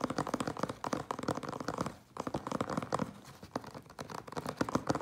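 A closed, hollow cardboard Priority Mail box stands on end while the fingertips and nails of both hands scratch quickly along its sides. Dense, dry scratching and rasping strokes run almost continuously, with a brief lull around the two-second mark before the scratching resumes.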